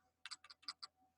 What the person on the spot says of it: you can hear they're the moving parts rattling around in the inside